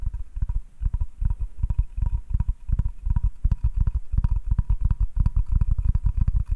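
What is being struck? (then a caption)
Hardwood cutting board. Fast fingertip and nail tapping on a flat, solid butcher-block hardwood cutting board held upright. It makes a rapid, uneven run of short, dull, low knocks that die away almost instantly, with a faint steady tone near 1 kHz underneath.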